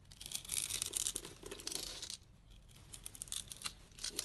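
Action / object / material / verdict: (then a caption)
scrape / translucent bar soap cut with a blade / soap / none. A utility knife blade slices scored cubes off a solid, translucent green bar of dry soap held in the hand, making bright, crisp crackling and scraping sounds. The cutting is dense and steady for the first two seconds, quiets briefly, then returns as sparser, sharp snaps as pieces break away.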